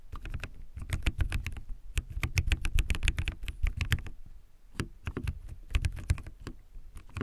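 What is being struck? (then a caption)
Mechanical keyboard with plastic keycaps. Fingertips type continuously on a backlit mechanical keyboard with white plastic keycaps. Rapid, irregular clacks carry a deep, thocky low body with brief bright tops. There is a short lull just past the midpoint before the typing picks back up.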